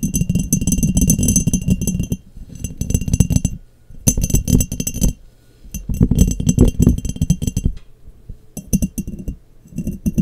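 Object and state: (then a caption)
Glass jar tapped with nails. Long nails tap and scratch an embossed, clear glass mason jar that sits hollow and empty, upside down over a microphone. The result is bursts of rapid clicking, clinking taps with a boomy low resonance, separated by brief quieter pauses.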